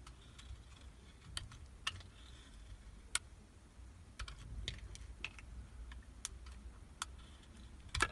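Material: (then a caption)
Soap. A metal utility knife blade shaves thin curls off a solid, translucent purple soap block held in the hand. The result is a series of short, sharp, bright scraping clicks that die away almost instantly, set over a quiet low rumble.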